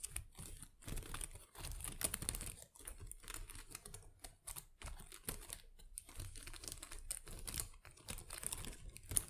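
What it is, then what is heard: Artificial plastic plant leaves. Long acrylic nails scratch and tap the small plastic leaves of an artificial potted plant. The result is a dense, quiet stream of crisp clicks and crinkly rustles with a bright edge, and each sound dies away almost instantly.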